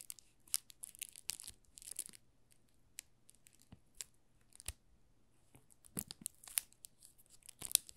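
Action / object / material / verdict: scrape / soap bar wrapped in thin plastic film / plastic film / none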